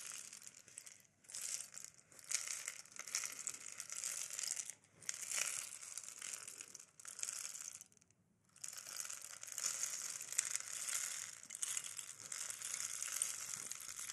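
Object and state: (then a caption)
Wooden rain stick. A long, hollow, carved wooden rain stick filled with small pellets is held horizontally in both hands and slowly tilted and turned so the fill trickles inside. It makes a bright, dense, crackling hiss that swells and fades in waves, with brief silent pauses between turns. There is almost no low end.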